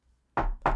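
A wooden table is knocked twice with sharp, hollow raps about a quarter second apart, each with a warm midrange tone and a short ring. The knocks are preceded by a faint low hum.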